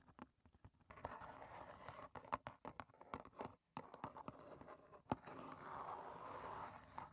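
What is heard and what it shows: Long painted nails tap and lightly scratch the front and sides of a small, closed, hollow rectangular cardboard box of Clipper green tea standing on a table. Quick, dry, hollow taps come in uneven bursts, broken by soft scratchy stretches. The sound is quiet and centered in the midrange, with little deep low end and almost no ring after each tap.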